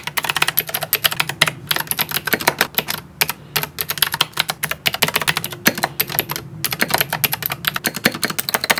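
Fingertips type quickly on a small 60% plastic mechanical keyboard with purple and white keycaps and blue switches, sitting below a tablet. Bright, clicky keystrokes come in dense bursts, about 59 distinct hits, each short and sharp with almost no ring, separated by a few brief pauses.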